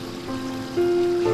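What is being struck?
Nothing is struck.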